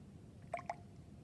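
A glass test tube holding the solution from mixing silver nitrate and sodium chloride, with a white silver chloride precipitate, is shaken so the solid rattles and floats around. Two quick, drip-like liquid sloshes sound in close succession, each with a brief ringing tone near 690 Hz, over a quiet low background hum.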